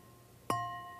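A good-quality wine glass is tapped once to find its resonant frequency, giving a bright, sustained ring centered near 1 kHz with fainter higher overtones. The tone decays slowly and is still sounding at the end of the clip.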